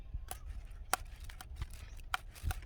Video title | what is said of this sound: หงเป่าสือดกไม๊ | นี้เริ่มแล้วค่ะอีก สักวันสองวันนะค่ะกำลังดี